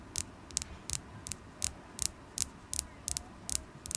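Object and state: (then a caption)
Carnelian crystal point tapped with nails. A solid polished carnelian stone point is held in the fingers and tapped with long acrylic nails. About a dozen short, bright, dry clicks sound at a steady, unhurried pace with almost no ring, over a faint low hum.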